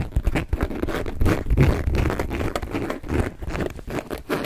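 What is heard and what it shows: Fingertips and nails tap and scratch a small, hollow black leather flap handbag with a perforated flower pattern and a top handle, held in both hands. The result is a steady, irregular patter of soft, muffled taps mixed with dry scratching and crinkling. It is dominated by dull low thumps, with almost no bright high content.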